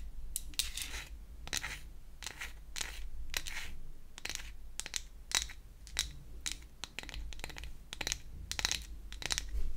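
A small pink-painted toy hair dryer made of solid flat wood is held in the hands and scratched and tapped with long acrylic nails. The result is a rapid series of bright, dry clicks and scratchy brushes that die away almost instantly, over a low steady rumble.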